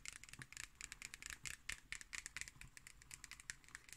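Long acrylic nails scratch and tap the cardboard cover of a black hardcover notebook held upright. A quiet, rapid stream of crisp, bright clicks mixes with dry scratching, each tap dying away almost instantly with no ring.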